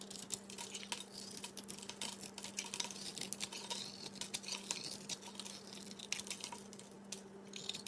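A solid oval cream-colored soap bar with a thin bronze outer layer is held in a hand and scraped and carved with a utility knife, sending flaky chips falling off. The result is a quiet, dense stream of bright, dry scratching and crackling with many tiny ticks, over a steady low hum.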